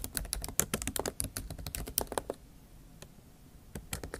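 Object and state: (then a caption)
Laptop keyboard, plastic keys. Long acrylic nail tips type fast on the plastic keys of a MacBook Pro laptop keyboard set in an aluminium body, producing a dense run of sharp, bright, clicking taps. The taps are quick and dry, with little ring. After about two seconds they pause briefly, then resume with a few scattered taps.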